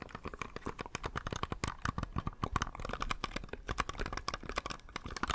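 A small, hollow, cream-coloured plastic computer mouse is held beside the microphone while its buttons are clicked with the fingertips. A rapid, irregular run of sharp, dry plastic clicks fills the clip, each snapping off almost instantly with a slight hollow knock underneath.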